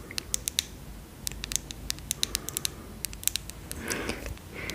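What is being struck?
Small glass serum bottle with plastic cap.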